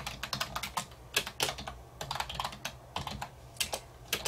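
A black plastic wireless keyboard on a wooden desk is typed on continuously with the fingertips, its hollow keys giving quick, bright clicks and clacks in an uneven rhythm. Each keystroke dies away almost at once, with louder taps standing out now and then over a soft low hum.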